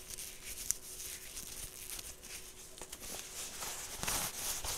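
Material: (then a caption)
Straw. A small woven straw handbag with a rope strap is handled by the strap, then long nails scratch and tap on its woven front close to the microphone. The sound is a dry, bright, crinkly scratching with soft, irregular taps and one sharp click early on. It swells into a denser, brighter rasp near the end.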